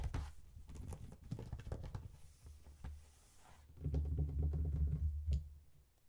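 Fingertips and nails tap and scratch the top of a small, hollow brown faux leather wallet phone case with a strap closure and metal zipper, resting on a cardboard chocolate box. Quick, uneven soft taps and scrapes come with low, dull thuds, growing heavier and denser toward the end before fading as the hands lift away.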